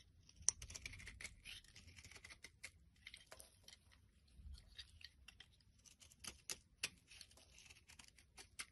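A solid pink bar of soap held in the palm is scraped and cut with a utility knife blade, slicing slabs from its edge. The sound is a quiet, bright, crisp scraping and shaving with many sharp clicks and snaps, with a sudden louder snap near the start and a few more later as pieces break away.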